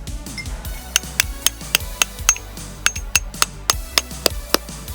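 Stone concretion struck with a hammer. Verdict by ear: Hollow.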